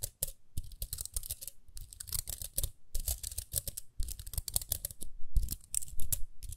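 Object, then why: Small plastic round hairbrush. Long nails scratch the bristles and rim of a small round pink plastic hairbrush. Rapid, irregular bursts of dry, bright clicking and crackling tumble over one another with soft low thumps, with brief pauses between flurries. The flurries grow slightly louder toward the end.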